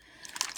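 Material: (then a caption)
Plastic, metal. A spray bottle of mica and water with a ball bearing inside is shaken side to side, and the ball bearing rattles against the bottle in quick, bright clicks after a quiet start. The shaking mixes the separated mica back into the water; it is mixed once the gold on the bottom disappears.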